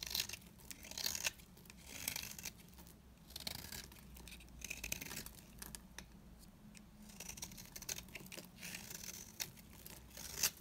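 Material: Soap.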